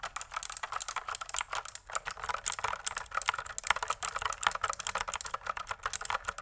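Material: Plastic.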